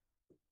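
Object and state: Solid wooden shelf.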